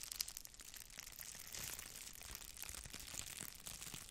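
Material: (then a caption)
Plastic. A thin red plastic bubble-wrap sheet is held in both hands while long nails scratch across it, then it is stretched and crinkled. The result is a quiet, dense stream of bright, crisp crackles and scratchy ticks, with a slightly fuller crinkling stretch around the middle.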